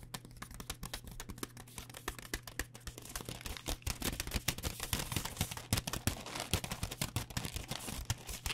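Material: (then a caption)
Plastic. A full blue plastic pouch of pad thai rice noodles, held upright, is tapped rapidly with long dark-painted nails. The result is a quick stream of short, crisp, crinkly clicks that build somewhat louder toward the end, over a steady low hum.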